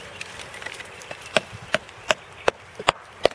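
A white oak trunk is tapped while being sounded, giving a run of short, dry knocks with almost no ring, centered around 540 Hz and unevenly spaced. Faint taps come first, then six sharp, louder strikes toward the end. The spot sounds different from the solid wood elsewhere and is confirmed to be a decayed section of the trunk.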